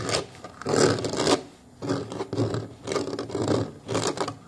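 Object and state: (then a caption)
Plastic booster car seat shell. Fingers of both hands scratch and rub along the plastic ridge near the foam-covered bottom edge of a booster car seat's hollow molded plastic base. The result is irregular bursts of dry, broadband rasping with a hollow body and bright scratchy edges, separated by brief quieter gaps.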